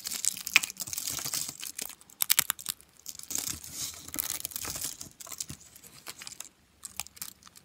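A pile of thin, dry, brittle orange soap flakes on a white surface is crushed and crumbled between the fingertips of both hands. Dense, bright, crisp crunching and crackling comes in quick overlapping bursts with brief pauses, each snap dying away almost at once, with hardly any low end.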